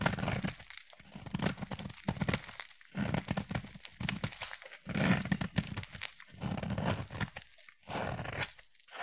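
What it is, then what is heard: Bar of soap being scraped. A utility knife blade scrapes thin shavings off a solid pale yellow oval bar of soap. The result is a run of dense, gritty scraping and crunching strokes with bright, tearing texture, separated by brief pauses.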